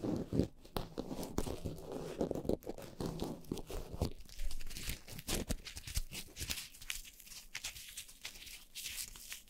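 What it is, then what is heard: Foam microphone windscreen. Long nails of both hands scratch and tap the tops of two black foam windscreens on upright microphones. The result is a close, dense crackle of rough scratching and soft muffled thumps with a low, rumbly body. Brighter, crisp scratches come in toward the end.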